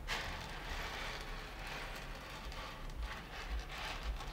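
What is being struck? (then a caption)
Layer of roasted coffee beans on a wooden table. Flat hands and fingertips rub, sweep and press through a shallow layer of loose roasted coffee beans spread across two sunken panels of a wooden table. The result is a steady, dense rustling and crackling, much like light rain, with a bright hiss on top. Soft, low thuds from the pressing surface now and then.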